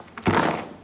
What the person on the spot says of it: You can hear kind of dried fruit in there.